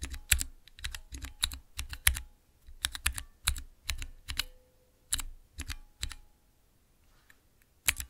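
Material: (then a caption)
Plastic. Fingertips press the transparent keycaps on a small, clear acrylic Cherry MX mechanical keyboard switch tester. The result is bursts of quick, sharp clacks with a bright top and a low thock, separated by short pauses, then a longer silence before a final pair of presses.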